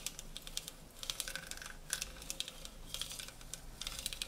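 Fingernails rapidly tap the sides of stacked, hollow tinplate tea canisters printed in blue, gold and magenta. The result is a fast, uneven run of dry, bright clicks, each dying away almost instantly, with a faint tinny ring near 1.5 kHz under the taps.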